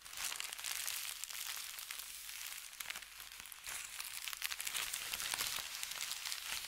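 A folded thin white paper sheet is rubbed with fingertips, lifted and crinkled, then pressed flat again. The result is a steady, dense, bright crinkling and rustling with quick crackles and almost no low end. It swells slightly louder toward the end.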